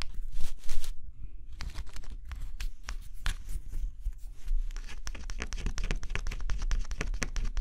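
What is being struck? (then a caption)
Scratch-off cardboard jigsaw puzzle scraped with a stylus. A thin scraper stylus held under a fingertip scratches the black scratch-off coating on a flat cardboard jigsaw puzzle. Rapid, irregular bursts of dry, bright scraping and crinkly rasps run throughout over a low, steady rumble, with a short quieter gap near the start before the strokes resume densely to the end.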